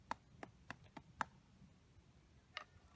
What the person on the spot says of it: you need to see if the sole is hollow. You can test it by tapping an object.